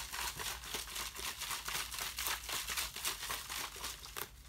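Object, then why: Thin ribbed plastic water bottle. A thin, ribbed, empty clear plastic water bottle is held out toward the camera and crushed and crinkled by hand. Bright, crackling crunches come in a quick, fairly steady run of bursts, nearly four per second, each fading fast. The sound sits mostly in the high range with very little low end.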